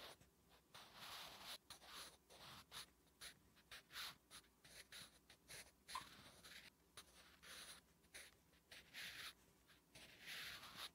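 A wooden graphite pencil writes Korean letters on a flat, solid lined paper notebook page. Quiet, bright scratching strokes come in quick, uneven bursts, each with a soft papery hiss and almost no low end.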